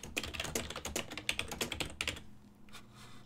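Fingertips tap rapidly and continuously on the keys of a full-size black and silver plastic desktop keyboard with a hollow housing. The keystrokes sound as sharp, bright, clacky clicks with a hollow low thump and very short decay. A dense burst of typing over the first two seconds thins to a few softer taps at the end.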